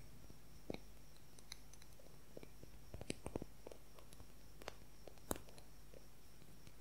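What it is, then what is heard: Wooden colored pencil. A long, thin wooden colored pencil with a red tip, held horizontally, is tapped and scratched with fingernails. Quiet, dry, scattered clicks and taps with almost no ring stand out over a steady low hum.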